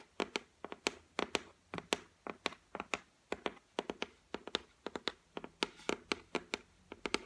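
Long white acrylic nails tap across the flat, solid top of a white laminated shelf, likely MDF or particle board. About 34 quick, irregular taps sound in a row, each a sharp, bright click with a hollow body and almost no ring, over a quiet background.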